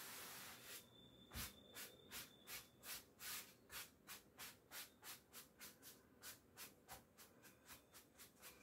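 A wooden-backed bristle clothes brush is rubbed in quick strokes over the front of a navy cotton twill coat hanging on a door, held at the collar by one hand, to remove hairs from the coat. About 17 bright, hissy swishes sound in a brisk, fairly steady rhythm over a soft background hiss, each stroke short with little low end.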